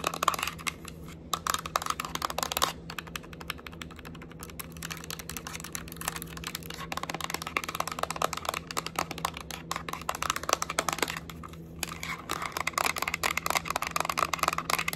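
Long acrylic nails rapidly tap the side edges and back shell of a yellow Nintendo Switch Lite, a small hollow hard-plastic handheld game console that may be switched on. The taps come as a dense run of sharp, bright, clicky plastic ticks with almost no ring, over a faint steady low hum.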